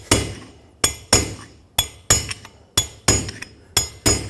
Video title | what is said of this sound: How to Replace Rear Wheel Bearings 2011-2016 Ford F-350 | You can hear a clear difference between when it's still going down and when it is fully seated.